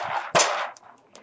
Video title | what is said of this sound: How To Make A Leather Water Bottle- Part 3 | stuff's coming loose from the sides real easy